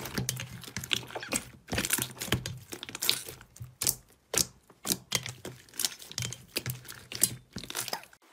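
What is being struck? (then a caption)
Soft fluffy slime in a steel bowl. A large mass of soft green fluffy slime in a stainless steel bowl is kneaded, pressed and squeezed by both hands with fingertips and palms. The result is a steady run of bright, crackly, crunchy squishes and pops with short pauses between them.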